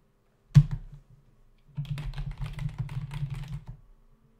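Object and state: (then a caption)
Plastic computer keyboard. A black plastic membrane computer keyboard with a hollow body and plastic keys sits on a desk while both hands tap the keys with their fingertips. A single sharp thud opens the clip, then after a short pause comes a dense run of quick, overlapping low clacks that fade out near the end.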